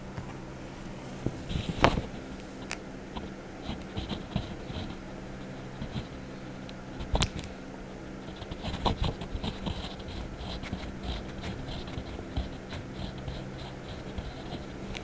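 A hand rubs a yellow-green wax crayon in short strokes over the colored Donald Duck page of an open paper coloring book resting on a desk. Soft, dry scratching and rubbing comes in quiet bursts, with a few sharper scrapes, over a steady low hum.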